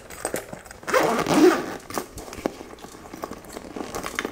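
Long blue acrylic nails tap and scratch the textured, quilted surface of a small, hollow, coral-pink embossed faux leather purse held in hand. A louder, zipper-like scratch comes as the nails drag over the embossing, followed by sharp, light taps that die away quickly.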